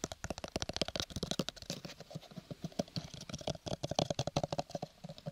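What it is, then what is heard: Paper-covered cardboard box. Fingernails tap and scratch rapidly on a small, hollow, square cardboard gift box covered in textured purple paper, held close beside the microphone. A fast stream of dry, clicky taps with a hollow tone around 640 Hz mixes with bright scratching, and each tap dies away almost instantly.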